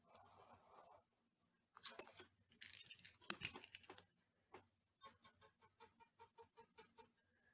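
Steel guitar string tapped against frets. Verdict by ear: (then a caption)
Good. A steel string on a Kramer VT-211S guitar is tapped against the frets to check neck relief, giving quiet, bright, thin clicks with very little ring. The taps come irregularly at first, then settle into a steady series. The relief is judged to be pretty good, and the truss rod seems looser, with less resistance than when the work started.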